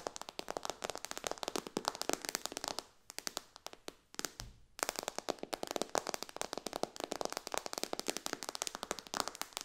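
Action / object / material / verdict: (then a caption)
tap / glass tablet touchscreen tapped with fingernails / glass / none. Long, dark-painted fingernails on both hands rapidly tap the glass touchscreen of a white iPad lying flat in a dark case on a cushion on a lap. Dozens of sharp, bright, dry clicks come in quick bursts with almost no ring or low end. The tapping thins to scattered taps for about two seconds in the middle before the fast rattle resumes.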